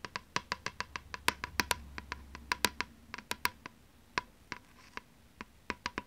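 A thin plastic PlayStation 2 game disc is held in one hand while long nails scratch and tap its surface. About 29 sharp, bright clicks and ticks sound at an uneven pace, each dying away almost instantly over a faint ring near 1 kHz.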